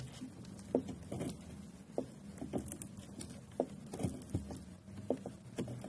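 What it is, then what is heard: Bar of soap being shaved. A thin metal blade with a pink handle shaves and cuts thin flakes off one end of a pale green solid bar of soap stamped with lettering, held by hand on a pink board. Soft, low scraping and crumbly patter are heard, punctuated by short, sharp cutting clicks. The thin flakes pile up on the board.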